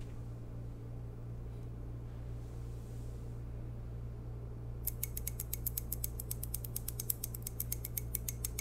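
Long painted nails tap a medium-size white ceramic mug printed "Morning gorgeous," held in both hands and likely holding tea. A steady low hum fills the first few seconds, then a quick, fairly even series of sharp, bright clicks runs to the end, each dying away almost instantly.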